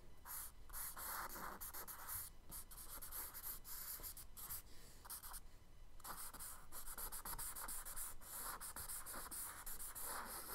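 A charcoal stick is scratched in repeated strokes along the right side of a kraft paper sketchbook page resting on a dark desk. It makes a dry, bright, gritty rasp with a faint low rumble beneath, broken by short pauses between strokes and a brief quieter gap near the middle.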